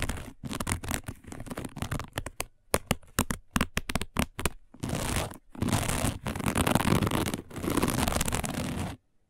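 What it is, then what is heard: Woven plastic placemat. Long nails scratch a round, flat, dark woven plastic placemat, first in quick, separate rasping strokes and then in longer, continuous bursts of dense scratching. The sound is gritty and broad, with most of its weight low, and it stops abruptly near the end.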